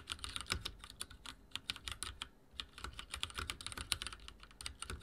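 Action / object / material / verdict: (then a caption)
tap / plastic mechanical keyboard / plastic / none. Fingertips of both hands rapidly type on a full-size backlit mechanical keyboard with dark plastic keycaps and linear switches, resting on a wooden desk. About thirty sharp, bright plastic clicks and taps land in quick, uneven bursts, with a short pause around the middle. Each keystroke dies away almost instantly.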